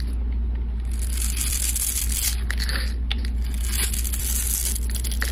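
A flat metal blade scrapes the grid-scored surface of a solid pink rectangular soap bar held in the hand, shaving it off into small cubes. Crisp, dry scraping and crunching bursts sound over a steady low hum that dominates the clip.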